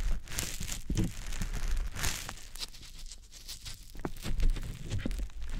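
A small, soft, porous green teardrop-shaped konjac sponge puff, damp, is held in fingers and rubbed and squished over the silicone ear of a dummy-head microphone. The result is a close, crackly rustle with wet crinkling and squelching textures. Low thumps sit under bright, hissy friction that swells and fades with each stroke.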